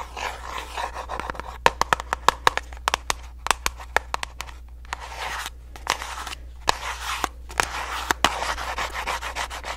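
A small, hollow orange printed paperboard box held in the hands is tapped and scratched with long nails. Sharp, dry taps land in quick, irregular bursts over a continuous rough scratching rustle, with a faint steady low hum underneath.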